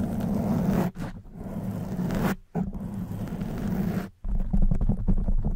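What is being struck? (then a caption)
Foam microphone windscreen. Long white nails scratch a soft black foam windscreen on a silver condenser microphone. The result is a dense, muffled, low-heavy rubbing and crackling with almost no high end, heard as long continuous scratching passes broken by brief silent pauses.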